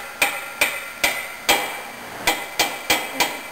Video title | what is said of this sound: OMC Cobra repair help - how to install the pinion bearing | you can hear the difference in sound uh and you can feel the resistance and that's all the way down